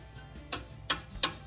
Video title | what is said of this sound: Scroll Saw Operation | it's very dull sounding and it's flexible you can move it very easily